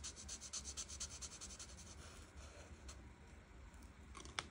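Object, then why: Felt-tip marker on a paper page. A felt marker tip scratches and rubs across a flat paper coloring page while filling in light green leaves. Quick, uneven back-and-forth strokes make a soft, bright, papery scratching, steady at first, then lighter, with one sharper tick near the end.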